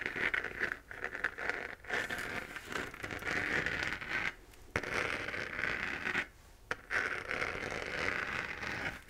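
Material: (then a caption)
Plastic. Long nails scratch over the crater relief of a hollow, glowing 3D-printed plastic moon lamp sphere. The result is a steady, dry, crackly scraping with a bright rasp, broken by a few brief quiet pauses.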